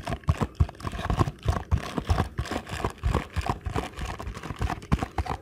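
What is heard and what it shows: Fingertips tap rapidly on the side and face of a small paperboard ankle support box, which is then turned over in the hands. The taps land as a fast, uneven run of soft, dull, low thumps with a faint papery rustle and almost no brightness. Each tap dies away almost instantly.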